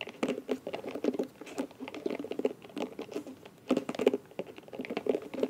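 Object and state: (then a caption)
Silicone scalp massager brush. Long nails scratch and flick the soft bristles of a small, round, light blue silicone scalp massager brush with a plastic back. The result is a rapid, uneven patter of soft, dry ticks and rubbery flicks, centered in the low mids with brighter clicking edges. Each tap dies away almost instantly.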